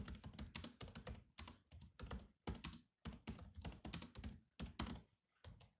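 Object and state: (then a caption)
Plastic laptop keyboard being typed on. Fingertips type continuously on the black plastic chiclet keys of a grey laptop keyboard. Rapid clicky taps arrive in quick bursts separated by short pauses, each with a dull, low thunk and a bright, crisp edge that dies away almost at once.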